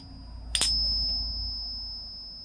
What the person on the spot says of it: that's what the 80 sound like